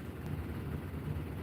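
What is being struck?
Nothing is struck.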